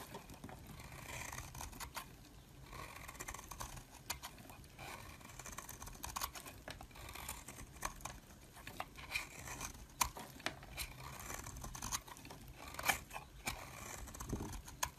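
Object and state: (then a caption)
Bar soap being shaved with a blade. A hand-held solid purple-white swirled bar of soap is shaved repeatedly with a metal blade, and flakes pile up underneath. The result is a steady run of quiet, dry scraping and crisp crackling with many short, bright ticks and brief taps. There are a few sharper snaps near the end.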